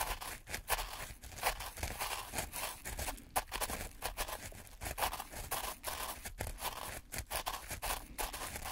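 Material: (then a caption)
Sand. Two wooden sticks held in gloved hands poke and drag through fine black-and-white speckled sand in a white plastic tray. The result is a steady run of crunchy, gritty scraping with short bright crackles and brief dips between strokes.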